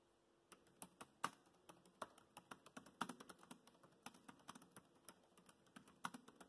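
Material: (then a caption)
Plastic. Fingertips of both hands tap the black plastic chiclet keys of a grey laptop in continuous typing. After a brief silence, about 30 short, dry, bright clicks follow in an uneven rhythm. Each click fades almost instantly and has little low end.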